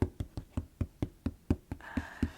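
Someone taps on the top of a cardboard shipping box, making a dozen dull, low, knock-like taps at a steady rhythm. Each tap dies away almost at once, and a faint steady tone runs underneath the last few.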